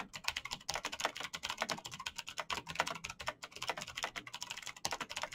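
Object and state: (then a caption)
Plastic mechanical keyboard. Fast typing by fingertips in knitted fingerless gloves on a black plastic Razer mechanical keyboard with backlit keycaps, clicky green switches and a hollow plastic body. It makes a rapid, continuous stream of sharp, bright clicks with almost no low end, each one short and dry.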